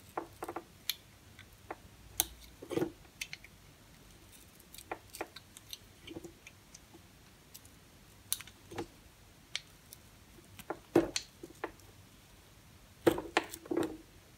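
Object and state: Recycled soap bar being cut.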